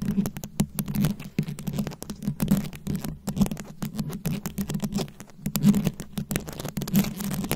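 Very long acrylic nail tips rapidly tap and scratch a fist-sized round microphone head covered in plastic rhinestones and beads. The result is a dense, continuous stream of sharp clicks and scratchy rasps over a steady low hum centered near 200 Hz, with brief bright ticks throughout.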